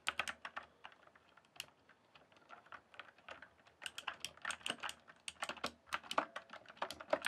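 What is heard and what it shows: Fingertips type on a full-size RGB mechanical keyboard with plastic keycaps. Sharp, bright clacks come in uneven bursts, with a sparser, quieter stretch in the middle before faster, louder typing returns. Each keystroke is short and dry with almost no ring.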